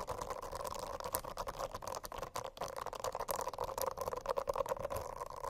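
Long acrylic nails scratch across the dense small bristles of a rainbow-striped silicone notebook cover. The result is a continuous, fast, crackly rasp of tiny ticks with a steady humming tone around 535 Hz and 1 kHz, and little low rumble.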